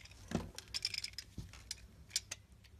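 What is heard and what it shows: A flat metal blade shaves slabs off the sides of a solid mint-green bar of soap held in the hand. A series of short, crisp scraping strokes and bright clicks with little ring sounds over a quiet background, with a soft low thud partway through.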